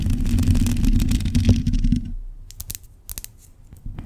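Long pointed acrylic nails on both hands scratch the hollow black metal mesh grille of a large USB microphone. A dense, boomy, low scratching rumble fills the first two seconds. It then thins to quieter, scattered bright ticks and light scrapes.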